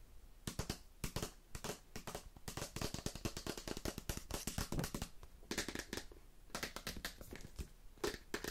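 A small dark grey rigid cardboard smartphone box, likely empty, is held in the hand and tapped and scratched with long red-painted nails. Rapid, dense clusters of dry, crackly taps and scratching strokes come in bursts with brief pauses between. Each tap dies away almost at once, with a low hollow thump under bright papery scratches.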